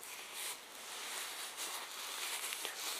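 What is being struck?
Nothing is struck.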